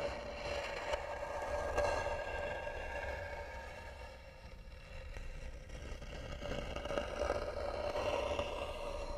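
Long nails scratch slowly and firmly across the lid of a hollow, tan carved wooden box. The result is a continuous dry scraping with a steady hollow tone around 580 Hz, fading softer midway before growing louder again.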